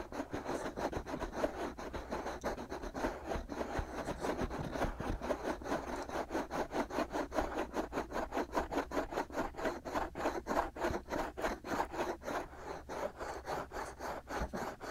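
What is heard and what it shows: Short fingernails scratch and rub both white, hollow silicone ear molds on a binaural microphone, making a steady, rapid series of dry, raspy scrapes. Each stroke is brief with a midrange hiss, repeating at an even pace throughout with a low rumble underneath.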